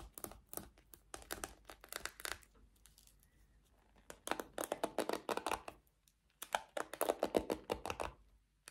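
Long nails scratch and strum the bristles of a small pink plastic paddle hairbrush with a black cushioned bristle pad. Quick, dry, crackling flicks come in rapid clusters with a brief near-silent pause midway and another just before the last flurry. The sound is crisp and close, mostly mid-range with bright, scratchy edges and almost no low end.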